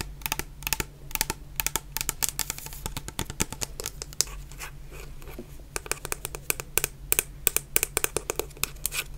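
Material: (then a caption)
Plastic. Long painted nails tap a medium clear plastic bottle full of orange shower gel, making quick, bright clicks in irregular bursts. The taps ease off into softer scratching in the middle before picking up again, over a steady low hum.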